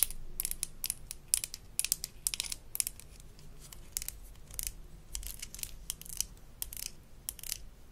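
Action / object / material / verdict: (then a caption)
scrape / plastic toy toothbrush / plastic / none. Long nails scratch the molded bristles and tap the handle of a small blue plastic toy toothbrush from a Melissa & Doug Super Smile Dentist Kit. The result is a rapid, uneven series of crisp, bright scratches and sharp clicks that die away instantly, over a faint low hum.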